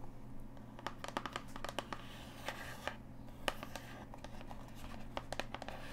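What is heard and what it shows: Long acrylic nails tap and scratch the flat face and edge of a tall, thin, hollow printed cardboard retail box for a Bluetooth selfie stick, held in both hands. The result is an uneven run of sharp, dry, bright clicks with softer papery scratching between them, all over a steady low hum.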